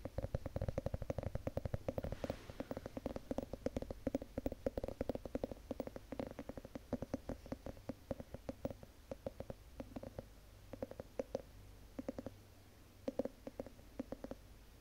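Long nails tap and scratch across the ribbed glass lid of a large candle jar, making a dense run of quick, dry clicks with a mid-pitched ring. The taps come in irregular bursts, thinning out with brief pauses toward the end.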